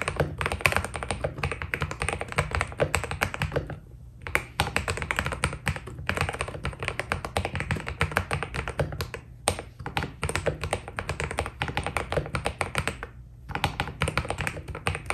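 A white Keydous NJ80 mechanical keyboard with PBT plastic keycaps is typed on continuously with the fingertips of both hands. The keystrokes come as a dense stream of short, crisp clacks with a deep low thud under each press. The typing pauses briefly around 4, 9.5 and 13 seconds before resuming.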